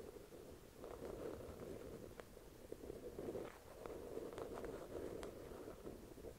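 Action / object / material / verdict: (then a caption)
tap / paperback book cover / paper / none. Long acrylic nails tap and scratch the cover of a thick paperback novel resting on a white cloth. A soft, steady scratching with a muffled midrange tone runs throughout, broken by a few sharper, brighter clicks from the nail taps.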